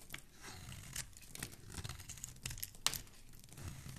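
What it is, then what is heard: Bar of soap being shaved. A metal blade with a black handle scrapes along the edge of a white, hand-sized solid bar of soap held in one hand, shaving off curls. The strokes make dry, crisp scraping and crackling with bright, papery detail over a soft low rumble. The sharpest snap comes near the end.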